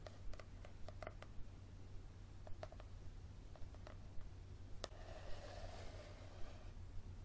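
Fingernails tap and scratch the spine and cover of a yellow softcover paperback book held up in the hand, giving about a dozen light, short clicks spaced unevenly. Around the middle comes a soft, brushing scratch across the cover. A steady low hum sits beneath the quiet taps throughout.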